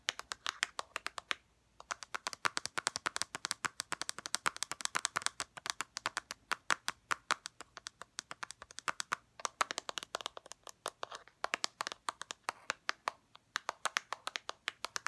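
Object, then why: Small plastic floss dispenser. A small, hollow white plastic REACH Mint Waxed dental floss container, held in the palm, is tapped and scratched with long red-painted nails. The result is a rapid stream of dry, sharp, high clicks with almost no ring, broken by a few short pauses.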